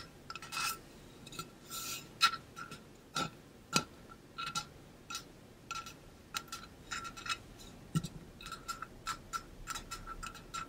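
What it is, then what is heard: Stainless steel water bottle. Fingertips and nails tap and rub the side of a tall, hollow stainless steel water bottle with a pink-blue ombre coating and a metal cap, held in both hands. Quick, bright metallic taps each carry a brief ringing tone near 1.3 kHz, mixed with soft scratchy rubbing swishes. The sound is a steady, irregular stream of light clicks and rasps.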